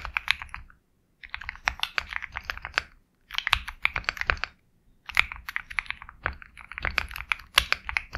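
Fast fingertip typing on a compact 65% Sugar65 mechanical keyboard with KTT Kang White switches, a black case, and white and black plastic keycaps. It produces quick, crisp, bright clacks centered around 2.8 kHz with very little low end, delivered in three rapid bursts separated by short pauses.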